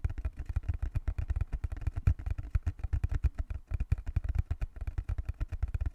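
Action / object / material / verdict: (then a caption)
tap / small closed cardboard box / cardboard / none. Fingertips tap rapidly on the surface of a small, closed, hollow brown cardboard box held in both hands. The result is a quick, steady stream of dull, low, hollow thumps that stop dead, with no ring after each tap.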